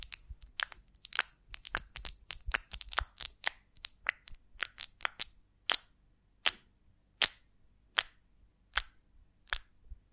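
Long nails tap and scratch the textured wax of a large golden beeswax honeycomb on a twig as it is held and turned. A quick, uneven run of sharp, bright clicks gives way to slower, more evenly spaced crisp taps. Each tap dies away almost instantly, with almost no low end.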